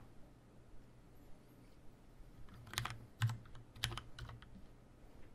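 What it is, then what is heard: Mechanical keyboard typing. Fingertips type on a tenkeyless Leopold FC750R mechanical keyboard with Cherry brown switches, a plastic case and keycaps, and a hollow housing. A short, irregular run of crisp, bright keystroke clacks, with the loudest in the middle, rises over a steady low hum and quiet background.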